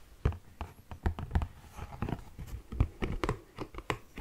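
An orange Kleenex cardboard tissue box, hollow, is held close to the mic and tapped and scratched with fingernails. About fifteen short, dull, bassy thumps land in an uneven run, with faint scratchy rustling between them. Each tap dies away almost at once.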